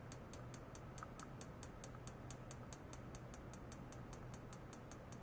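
A medium rectangular stainless steel wire-mesh basket, hollow and empty, rests on a white foam mat with sensor cables clipped to its rim. It is tapped repeatedly on the mesh and rim with a long white plastic rod. The result is a steady, even run of quick, light, bright ticks over a low, constant hum near 120 Hz.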